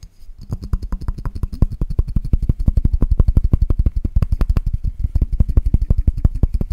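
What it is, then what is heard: Glass cup. A glass cup is tapped fast and aggressively, giving a rapid, slightly uneven stream of about sixty short, dull taps. Each tap is a low, thudding knock that dies away almost at once, with no ringing tone.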